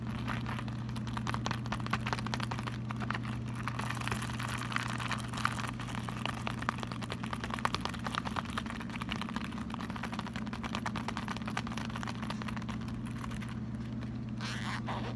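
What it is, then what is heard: Leather wallet. Fingertips rub and scratch the surface and edges of a small, hollow brown leather bifold wallet held in both hands, flipping it over. This makes a dense, continuous run of dry, bright scratching and rustling. A steady low hum sits underneath throughout.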